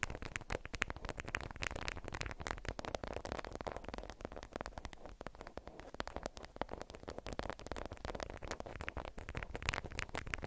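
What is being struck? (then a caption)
Beeswax-coated cotton wrap. A watermelon-print beeswax-coated cotton food wrap, bundled up and held in both hands, is squeezed and scratched with long acrylic nails. It makes a dense, continuous run of crinkly, stiff-fabric crackles and scratchy rustles, with sharp bright clicks and a steady low rumble beneath, at a fairly quiet level.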